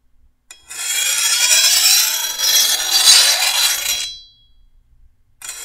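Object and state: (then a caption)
Steel machete blade being filed. A hand-held steel file is drawn along the edge of a long, thin, solid steel machete blade in one long, bright, rasping scrape with a high metallic ring running through it. The stroke fades out after about four seconds, and a second stroke begins just as the clip ends.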